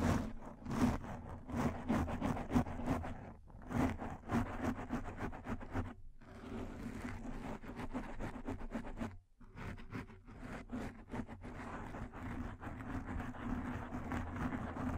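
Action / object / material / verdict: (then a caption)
scrape / foam microphone windscreen / foam / none. Long fingernails of both hands scratch and rub over a black foam microphone windscreen. The result is a dense, continuous scratchy rustle with a heavy low-end rumble, broken by brief pauses around 3.5, 6 and 9 seconds.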